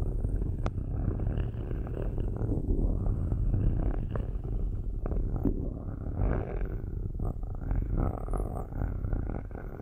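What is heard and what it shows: Metal-tipped sticks held in long-nailed fingers scratch and rub the metal mesh grilles of two black cylindrical microphones. The result is a steady, dense, low rumbling scrape, with occasional sharper clicks and scratchy streaks that rise into the upper mids.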